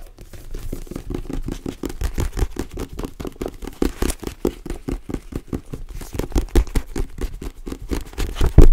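Fingertips tap rapidly on the matte paper cover of a paperback novel held upright. The result is a steady stream of soft, dull, low thuds with little brightness and a quick decay, ending with a few louder taps.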